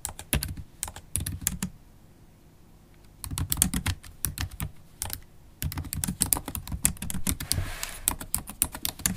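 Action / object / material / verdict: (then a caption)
tap / laptop keyboard, plastic keys in a metal body / plastic / none. Typing on a MacBook Pro keyboard, black plastic keys in an aluminium body, with long acrylic stiletto nails, gives rapid bursts of sharp, bright clicks over a low thud. The bursts break off into a quiet pause of about a second and a half before typing picks up again and runs steadily to the end.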